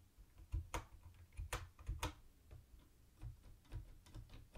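Fingertips type on a mint-green plastic typewriter-style keyboard with round white plastic keycaps and a hollow body. Each keystroke is a quiet, short clack with a hollow low thump and a brief bright click on top. The clacks die away almost instantly and come at an uneven pace, with faint background hiss between them.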